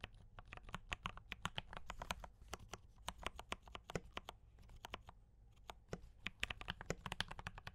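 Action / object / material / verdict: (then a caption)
tap / mechanical keyboard with plastic keycaps / plastic / none. Fingertips of both hands type steadily on a mechanical keyboard with D84 brown switches and cream and red plastic keycaps. Quick, dry, bright clacks arrive in uneven bursts over a soft low rumble, each keystroke dying away almost instantly.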